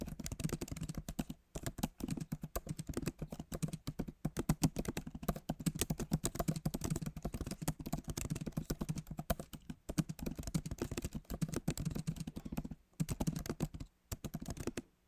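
Fingertips of both hands type fast on a backlit MacBook Pro keyboard with plastic keys set in a solid aluminum body. The result is a dense, rapid stream of short, low, muted key taps that die away almost instantly, broken by a few brief pauses.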